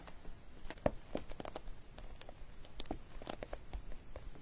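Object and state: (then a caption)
Clear plastic glitter pouch. Long nails tap and scratch the face of a flat clear vinyl zip pouch with loose glitter inside and metallic pink trim, lying flat. Quiet, sharp clicky taps mix with soft scratchy crinkles, each dying away almost at once with no ring.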